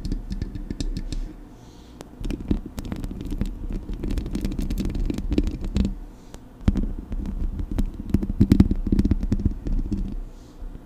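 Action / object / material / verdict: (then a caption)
scrape / metal mesh microphone grille / metal mesh / none. Long acrylic nails scratch and tap across the metal mesh grille of a Blue Yeti microphone, making a dense, uneven run of low scraping rumble with many short, sharp clicks cutting through. The sound swells and dips in patches, with brief quieter gaps between bursts of scratching.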